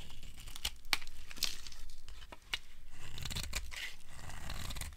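A metal blade scrapes flaky shavings from the surface of a solid, dry white soap bar. Crisp, crinkly scraping and tearing sounds run continuously, with sharp bright snaps cutting through. Underneath sits a soft low rumble.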